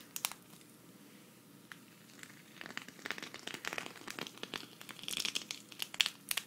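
A thin, hand-sized, flat green sequin fabric cactus patch, held at the left, is scratched with long red nails. It produces bright, crinkly scratching and rapid sharp clicks, sparse and quiet at first, then growing denser and louder toward the end.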